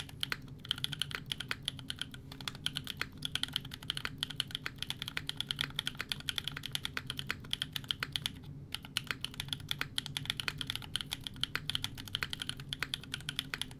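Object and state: Mechanical keyboard with ABS plastic keycaps.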